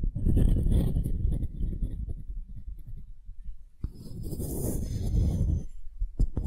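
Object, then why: Wooden cube. Long nails scratch and tap the end-grain face of a palm-sized solid light wooden cube held in both hands, then move to its side. Dense, low, rustling scratches fill the clip, broken by a few short, sharp taps and brief bursts of brighter hiss.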